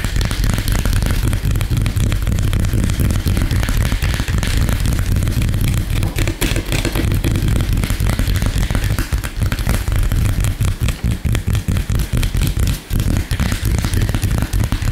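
Fingertips and short nails of both hands tap and scratch very fast across a flat, light-colored solid wooden tabletop. The result is a dense, continuous stream of rapid low thuds centered around 90 Hz, layered with a fainter scratchy rasp, with only brief dips between the taps.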